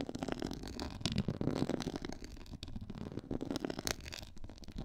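Long nails scratch across a black quilted, pyramid-textured faux leather board. The sound is a dense, continuous run of rough scratching and scraping, with a low, muffled body and brief brighter bursts as the nails catch the raised texture.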